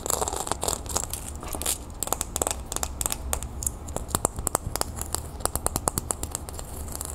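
A small, thin, round copper-toned disc earring with a raised scale pattern is held in the hand and scratched and tapped with long nails. Quick, sharp ticking taps with bright, crisp edges sound over a continuous rough scratching texture and a steady low background rumble. The taps stop instantly with no ringing.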